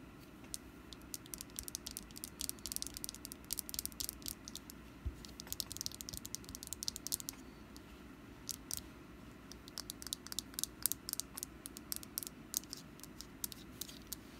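Long pointed black nails tap and scratch a small solid orange wax jack-o'-lantern candle with a green top and wick while it is held. The clip is a quiet, steady run of sharp, bright clicks and dry scratches, each dying away instantly, over a soft low hum.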